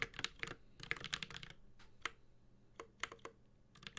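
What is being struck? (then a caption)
Mechanical keyboard with aluminum case and plastic keycaps. A Space65 Cybervoyager 65% mechanical keyboard with an aluminum case, plastic keycaps and Holy Panda switches is typed on with the fingertips of both hands. Quick bursts of sharp, bright key taps with very short decay come at an uneven pace, separated by brief pauses, with a little low thock under the clicks.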